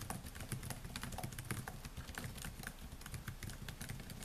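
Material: Plastic.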